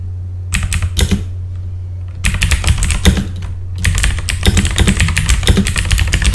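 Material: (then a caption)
Plastic. Both hands type with their fingertips on a full-size backlit mechanical computer keyboard with plastic keycaps, producing quick runs of crisp, clacky keystrokes. Three bursts of typing are separated by two short pauses, and the last run is the longest and densest. A steady low hum sits underneath throughout.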